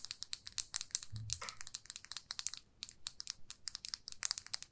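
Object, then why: Plastic lipstick case. A small glossy red plastic lipstick tube with a metal band, held in the fingers, is tapped and scratched with long nails. A rapid run of quiet, bright clicking taps is heard, with a brief scratchy rustle and a soft low thump early on. A short pause falls just before the tapping resumes.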